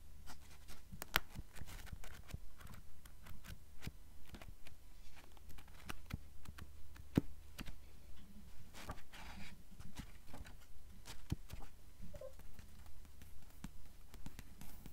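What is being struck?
Paper book pages.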